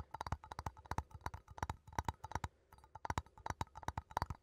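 A small cylindrical metal coffee tin, held in both hands, is tapped and scratched with fingertips and nails on its side and lid. The result is a quick series of dry, soft clicks and taps with a hollow, tinny tone around 900 Hz and almost no ring, with a brief pause in the middle.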